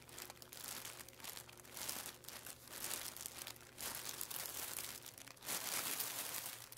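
Fingertips and palms press, rub and slightly lift the thin film of a flat, layered clear plastic packaging bag with a barcode label lying on a wooden table. The result is a continuous, bright crinkling in uneven bursts, growing louder and denser toward the end.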